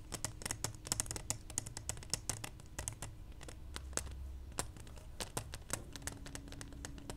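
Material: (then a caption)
Plastic. Long nails quickly tap and scratch a small, hollow, clear plastic pacifier case. The result is a rapid patter of sharp, bright plastic clicks over a low, steady rumble, and each tap dies away almost instantly.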